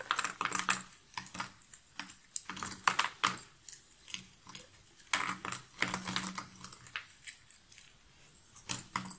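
Handfuls of cardboard jigsaw puzzle pieces are scooped up, rubbed between the palms and dropped back into a cardboard box lid. The clip is a run of dry, bright rattling and clicking bursts with soft rustling between them, each clatter dying away almost at once.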